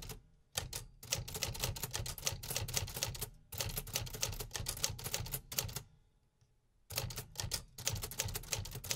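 Fingertips type quickly on the metal keys of a vintage 1950s manual typewriter, producing dense runs of sharp, bright mechanical clacks over a low thump. The bursts of keystrikes are broken by short pauses, with a longer near-silent gap before the typing resumes.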